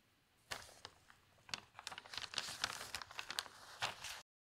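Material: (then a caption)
Paper. A spread-open newsprint newspaper has a page lifted, turned and flattened by fingertips, giving quiet, dry, bright crinkling and rustling. A few sparse crackles build into a denser run of papery crinkles that stop abruptly just before the end.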